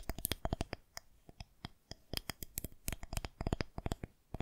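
Long nails tap and scratch along the surface of a solid white plastic rolling pin held horizontally. The result is a rapid, irregular run of sharp, dry clicks with bright ticks that die away almost instantly, with faint scratching between the taps.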